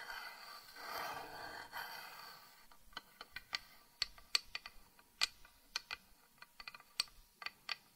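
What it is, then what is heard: Carved wooden box lid. Long painted nails tap on the raised thin lid of a small carved wooden box that stands open, filled with moss and dried rosebuds. A soft, hushed rustling noise fills the first few seconds, then 16 sharp, bright, dry taps follow in an uneven rhythm. Each tap dies away almost instantly.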